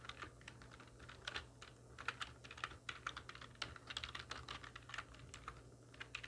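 A full-size black plastic computer keyboard with hollow keys, resting on a wooden desk, is typed on rapidly with the long nails and fingertips of both hands. Dense, uneven bursts of sharp, bright clicks and clacks decay almost instantly, over a faint, steady low hum.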